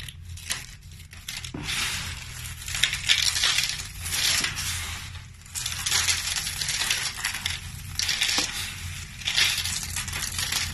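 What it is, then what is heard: Dry soap flakes being crushed. A pile of small, dry, brittle multicolored soap flakes, crushed from soap roses, is scooped and squeezed in bare hands with the fingertips. The result is a steady run of dense, bright crunching and crackling that swells and eases in waves, with short, sharp clicks and almost no low end.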